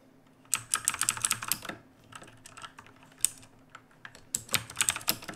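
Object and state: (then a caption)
Mechanical keyboard with plastic keycaps. Fingertips of both hands type on a black mechanical keyboard with plastic keycaps resting on a wooden desk. Quick, bright, crisp keystroke clacks come in three bursts separated by quieter, sparser taps, each click dying away almost instantly.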